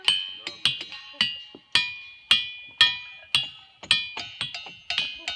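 Rocks in the boulder field at Ringing Rocks Park in Bucks County, Pennsylvania, are struck repeatedly and give bright, cowbell-like metallic pings. Each strike rings with a clear high tone near 3.3 kHz that fades within a fraction of a second. The strikes come in an uneven rhythm of about fourteen.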